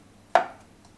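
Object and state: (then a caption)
Full takeaway coffee cup. A full takeaway coffee cup is set down once on a surface, giving a single short, dull knock with a mid pitch near 690 Hz that fades within a fraction of a second. It has the dense, solid sound of a full cup, unlike the hollower sound of an empty one.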